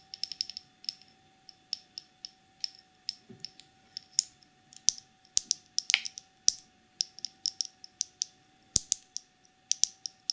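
Long pink nails tap and scratch a small clear plastic cosmetic jar with a black plastic lid, filled with dark glitter. A rapid, irregular series of sharp, bright clicks and brief scratches sounds, each dying away almost instantly, over a faint steady hum.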